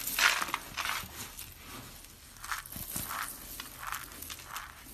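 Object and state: Dry soap flakes being crushed.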